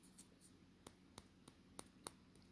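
A hard, solid papier-mâché ladybug is tapped on another spot or piece, giving eight short, dry clicks with sharp, bright tops that stop almost instantly. The quiet, even ticks show the piece is hard all the way through.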